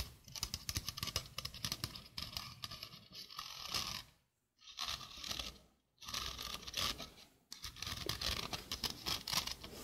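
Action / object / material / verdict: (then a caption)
scrape / stainless steel wire-mesh sink strainer / stainless steel / none. Long painted nails scratch and tap a small, hollow, empty sink strainer, a domed stainless steel wire-mesh basket with a dark rubber rim, held in one hand. The result is a bright, dense, scratchy rasping with quick tapping patter, broken by two brief silences near the middle.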